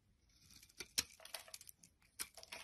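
A utility knife blade shaves curls off a solid light green Palmolive soap bar held in the hand. The strokes give quiet, bright, crisp scraping and crackling sounds with short sharp peaks and almost no low end.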